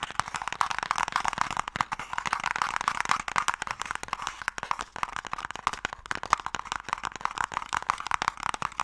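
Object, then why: Closed wooden game box. A closed, hollow wooden Mikado box is tapped with nails and fingertips on its face and ends. The result is a rapid, dense stream of short, dry clicks with a hollow midrange knock and almost no low end or ring.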